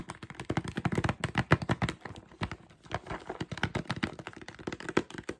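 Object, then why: Plastic jar filled with mixed nuts. A clear plastic jar full of mixed nuts, with a black ridged screw lid and a label, is held in hand while its lid and sides are rapidly tapped and scratched with fingertips and short nails. Dense, quick, dull clicks and taps with very short decay run throughout, mostly low in tone, easing briefly near the middle before picking up again.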